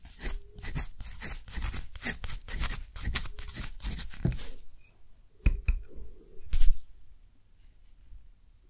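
A metal dip-pen nib scratches across a large, flat sheet of thick, rough-textured cotton paper, held down by the other hand, while writing a quote. A dense run of dry, bright scratchy strokes fills the first four and a half seconds. It then thins to a few sharper scrapes near 5.5 and 6.6 seconds before fading to quiet.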